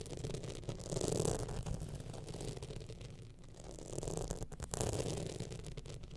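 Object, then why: Rhinestone-studded clutch bag. Long nails scratch the studded panel of a gold rhinestone-studded evening clutch bag held in hand, producing a continuous low, gritty rasp with dense ticking texture. The scratching swells twice, around the one-second and five-second marks, before easing off.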